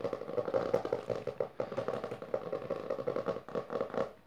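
Long dark fingernails of both hands, then one hand, rapidly scratch and tap the textured maroon cover of a closed, solid hardcover book resting on purple fabric. The result is a fast, dense run of dry clicks and scrapes with a hollow mid-pitched tone around 480 Hz. Each tap dies away almost at once.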